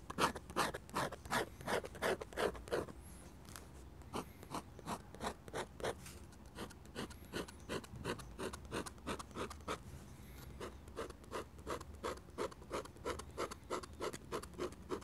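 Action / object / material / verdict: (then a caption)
scrape / metal dip-pen nib on thick drawing paper / paper / none. A metal dip-pen nib, held in the fingers, scratches rapid hatching strokes across a large flat sheet of thick drawing paper bearing an ink sketch; an ink bottle and a microphone sit nearby, untouched. Short, dry, bright scratches repeat at nearly three per second in an uneven rhythm, each dying away almost instantly. A brief lighter stretch comes around the third second before the steady strokes resume.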